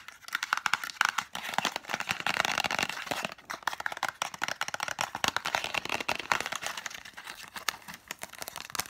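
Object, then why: Small cardboard medicine box. Long manicured nails rapidly tap and scratch a small, hollow green-and-white printed cardboard lozenge box, probably with contents inside. A dense, continuous run of dry, bright clicks and scratchy crinkles fills the clip. Each tap dies instantly with almost no low end or ring.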